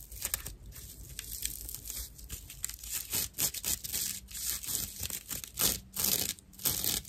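A dry cross-section of natural loofah, a fibrous plant material with hollow chambers, is scratched and rubbed by long nails. The result is rough, bright, crackling scratches and tearing-like rasps in irregular bursts.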